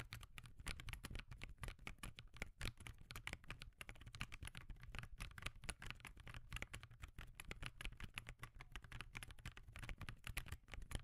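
Fingertips type steady, rapid taps on the plastic keys of a backlit laptop keyboard resting on a desk. The short, dry clicks come in a dense stream over a constant low hum.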